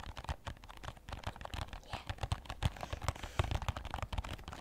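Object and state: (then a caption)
Cardboard box. Fingertips and nails tap the sides of a small red and white printed cardboard box, likely a product package, held in both hands. A rapid, irregular stream of dull, low, hollow taps is mixed with lighter clicking nail ticks. Each tap is dry and dies away at once.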